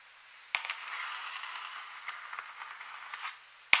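Long metallic-tipped nails and fingertips of both hands, with rings that may add faint metal clicks, tap and scratch a large open paint color chart of thin, solid printed cardstock lying flat on a surface. A sharp tap starts a steady, bright scratching rustle dotted with small clicks, and a final crisp tap closes it. The sound is all high and papery, with no low end.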